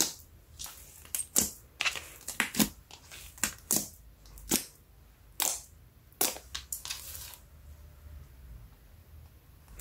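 Fingertips press, poke, stretch and knead a large, soft, solid lump of shiny brown slime resting on a yellow mat with no container. The squeezing gives off a quick, uneven string of sharp, bright, squishy air-pocket pops and crackles, each dying away almost at once. After about seven seconds the pops stop and only a faint hiss remains.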